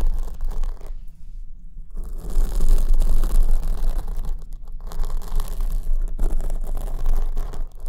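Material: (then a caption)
Foam. Long acrylic nails scratch down the front of a large black foam windscreen on the right microphone while it is held at the top. A dense, crackling scratch and rustle rides on a heavy low rumble, easing into brief quieter gaps before rising again.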